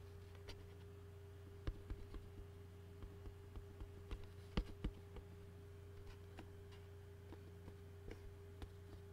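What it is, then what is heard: Empty plastic takeout bowl, hollow. Fingertips and nails tap and rub the bottom of an empty, hollow white plastic takeout bowl. About a dozen short, dry ticks and light scratches sound at irregular intervals, each dying away almost at once. They sit quietly over a steady low hum.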